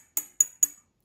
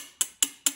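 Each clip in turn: First: intact ceramic part, no crack. Second: cracked ceramic part.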